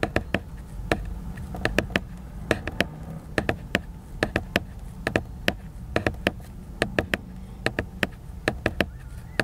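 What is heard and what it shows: Fingertips tap the glossy cover of a large, solid, flat laminated cardboard hardcover book, making about thirty crisp, dry clicks in irregular quick runs. Each tap is sharp and bright with almost no ring, over a steady low rumble.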